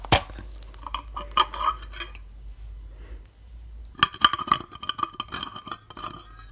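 A medium glass jar of Claussen pickles with a green plastic lid and paper label, full of pickles and brine, is held in the hands and tapped with fingertips and nails on its glass sides and lid. Quick, bright clinks and light clicks ring with a steady glassy tone, coming in two bursts separated by a quieter pause.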